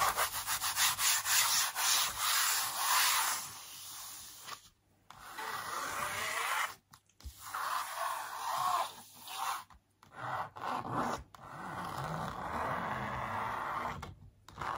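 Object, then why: Printed canvas on a wooden stretcher frame. Flat palms and fingers rub across the surface of a large, hollow-backed printed canvas stretched on a wooden frame. The result is a soft, bright, airy rubbing hiss in uneven strokes, broken by brief silent pauses.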